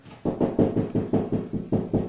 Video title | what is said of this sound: A better way to secure a grab bar...Part 4 | hear that how it's Hollow sounding